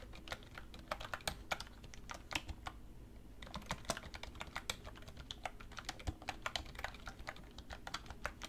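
Fast, continuous typing with fingertips and long red nails on a black plastic computer keyboard resting on a wooden desk. Dozens of crisp, bright key taps arrive in quick succession, each dying away almost instantly over a faint steady low background.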